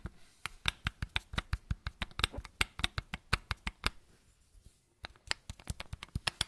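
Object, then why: Small plastic bottle. Flat fingertips and nails tap the cap of a small matte white plastic bottle, making about 29 quick, dry, bright clicks with a soft low thump under each. The taps come in a steady run, stop for about a second, then start again at the same pace.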